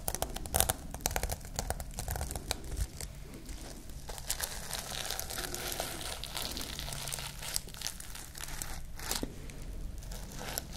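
Long nails scratch and brush the sequins of a flat pink reversible-sequin pouch. The result is a steady, dense crinkling and rustling with sharp bright clicks and a soft low rumble underneath for about eleven seconds.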